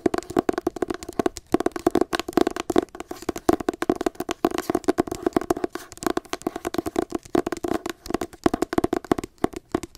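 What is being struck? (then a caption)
Hardcover book with matte paper cover. Long acrylic nails tap rapidly and continuously on the pale green matte paper cover of a solid hardcover copy of "Me Talk Pretty One Day" held near the face. Each tap is short and dry with a hollow midrange tone around 330 Hz and very little deep bass or bright treble.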